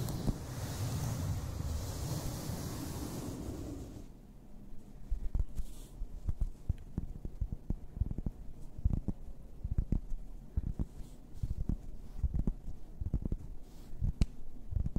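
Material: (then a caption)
EVA foam. Long red nails scratch across a large, soft but solid pink and purple EVA foam flower shape with a yellow centre lying flat, making a dense, muffled rubbing hiss for the first four seconds. They then switch to tapping, producing many short, dull, low thuds with little ring scattered over the rest of the clip.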